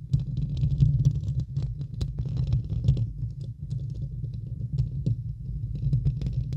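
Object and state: Metal microphone grille being scratched.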